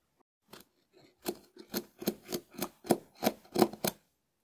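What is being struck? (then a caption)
Dried konjac sponge scraped with a wooden spoon. A small wooden spoon scratches a hard, hand-sized dried konjac sponge held in the hand. It makes a quiet series of short, dry, crisp rasping strokes that come faster and a little louder toward the end. Each stroke is a brief, bright scratchy burst with a soft mid-range body, separated by near silence.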